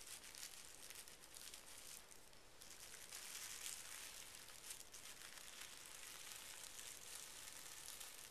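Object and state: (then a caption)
Tissue paper being rubbed. A flat palm and fingertips smooth over a folded stack of pink tissue paper resting on carpet. The result is a continuous soft rubbing crinkle, bright and hissy in the highs with little low end, and it stays at an even, quiet level throughout.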